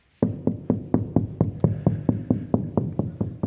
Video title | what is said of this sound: Multi use mud room build,and da-birds🤣 | when you're tapping, you can just hear the hollowess when it's there's no water against it. And then you can hear the change when there is.